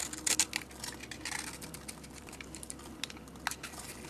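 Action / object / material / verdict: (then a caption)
scrape / bar of soap scraped with a metal blade / soap / none. A metal blade scrapes flakes off a solid purple, grid-scored bar of soap held in the hand. The quiet, bright, dry scraping comes in short crackling bursts and crisp ticks, with the louder flurries near the start.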